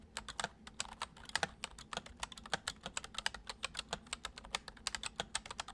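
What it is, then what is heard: Plastic computer keyboard being typed on. Fingertips of both hands tap and press the keys of a full-size white plastic MSI keyboard with keycaps, resting on a wooden desk. A steady, gentle run of about 39 quick, separate keystrokes is heard, each a short, bright plastic click that dies away almost instantly, with a soft low hum underneath.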